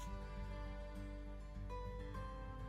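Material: Nothing is struck.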